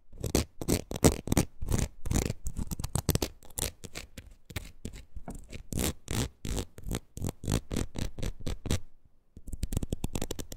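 A palm-sized red ridged rubber wood-graining rocker is scratched across its ridges with long nails. Many quick, irregular rasping strokes come with a low thud-like body and bright scratchy tops. After a short pause near the end, a denser, steadier scratching follows.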